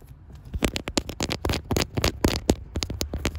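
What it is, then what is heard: Metal gear shift knob. Long white acrylic nails and fingertips tap on a small, solid, round chrome metal manual gear shift knob with an engraved shift pattern, mounted on a leather-booted shifter. The taps come quickly and irregularly, about four per second, each a short, dry click with a bright edge over a low thump. They die away almost at once, with no ring.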